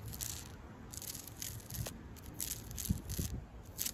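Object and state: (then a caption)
Tree bark. Long pink acrylic nails scratch the flaky, furrowed bark on a large, solid street tree trunk. Repeated bursts of bright, dry scraping and crackling rise and fall over a steady low rumble, with a few sharper snaps along the way.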